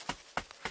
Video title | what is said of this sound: OVERNIGHT Paris Catacombs - FULL EXTENDED CUT | hear that Hollow sound yeah that's because it's nothing but bones underneath